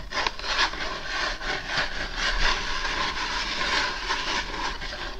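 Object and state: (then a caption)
Cardboard mailer envelope. Long painted acrylic nails scratch and rub across the surface of a flat, empty-looking brown cardboard Amazon shipping envelope held in both hands. The result is a steady, dense, papery scraping with a bright hiss and a faint ringing tone near 1 kHz, swelling and easing slightly throughout without clear separate strokes.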